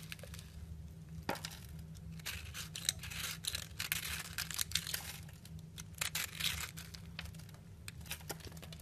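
A metal utility knife blade shaves and cuts a round solid purple soap bar, held in the hand, with a piped pink soap rose on top. Crisp, bright scraping and crumbly crackles of soap come in quick bursts over a steady low hum.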